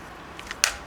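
A Noontec Zoro II headphone's folding hinge is folded, giving a couple of faint ticks followed by a sharp, bright plastic clack. The hinge clacks and creaks because it is plastic against plastic, despite a small metal structure inside, which raises doubts about how long it will last.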